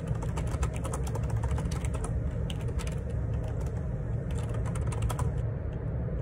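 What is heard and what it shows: Fingertips type on a black plastic Perixx Periboard 612 wireless Bluetooth dual ergonomic split keyboard, with a hollow housing and plastic keycaps, resting on a desk. Rapid, repeated key presses make short, bright, clattering clicks over a steady low rumble that fills the whole clip.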